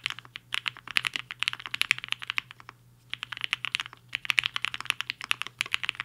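Fingertips of both hands type on a black-cased HI-FINGER 7.5 75% mechanical keyboard with a hollow case and white and pink plastic keycaps, resting on a desk mat. Rapid, bright, clacky keystrokes centered around 2 to 3 kHz come in quick bursts, with a brief pause in the middle before typing resumes.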